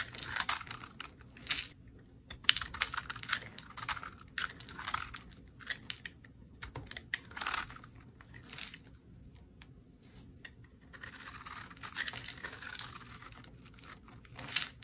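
A metal utility knife blade scrapes and cuts crunchy cubes off a solid green bar of dried soap, scored into a grid and held in the hand. Bursts of bright, dry, crackling scrapes come in quick, clicky runs separated by short pauses, with a longer steady scraping stretch near the end.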